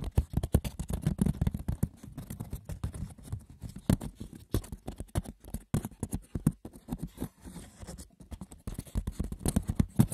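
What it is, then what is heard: Wicker basket. Fingers scratch and tap the rough, textured woven surface of a wicker basket. A dense, fast patter of dozens of light, dry clicks and scratches follows, each one short with almost no ring and a soft low thump beneath. A brief gap breaks the sound just after the eight-second mark.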